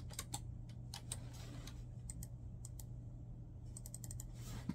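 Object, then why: Plastic laptop keyboard. Fingertips of both hands rapidly tap the keys of a black plastic laptop keyboard resting on a bed. Quiet, sharp, bright clicks come in quick bursts and pauses, each dying away almost instantly. A steady low hum runs underneath throughout.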